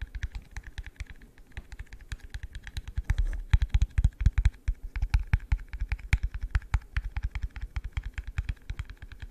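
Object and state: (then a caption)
Plastic cup. An empty, hollow, yellow translucent plastic cup is held in the hand and tapped rapidly with the fingertips. The taps come as a dense run of short, dull, low thuds that die away almost instantly, with faint brighter clicks on top.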